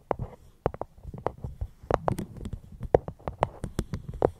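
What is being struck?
Fruit box.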